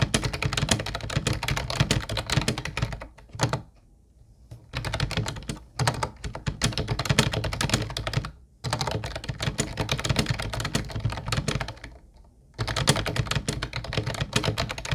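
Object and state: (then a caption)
Plastic keyboard being typed on. Fingertips type continuously on a small, hollow teal plastic Ubotie keyboard with round white plastic keys, producing rapid, dense clacks with a deep, thunky low end. Brief pauses in the typing fall around 4 seconds, 8.5 seconds and 12 seconds.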